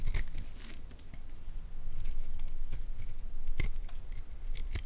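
A metal utility blade scrapes and cuts curls off the surface of a solid, palm-sized, partly carved orange Lux bar soap held in one hand. Quick, uneven strokes make dry, crisp scraping and crackling sounds with bright, sharp edges over a low rumble.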